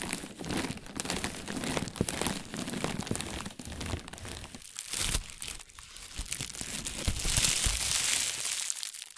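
A thin white plastic shopping bag is first partly inflated and pressed flat under the palm, then deflated and crumpled and scrunched between fingertips with painted nails. Dense, irregular crinkling and crunching rustles fill the clip, bright and hissy in the highs with some low thumps of handling. The crinkling grows brighter and louder toward the end.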